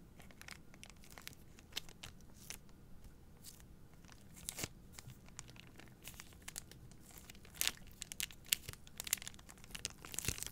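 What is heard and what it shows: Long nails scratch and rub the plastic film wrapped around an upright pack of three white paper towel rolls. The result is a quiet, bright, crinkly scratching with frequent sharp clicks and a few louder crackling bursts near the end.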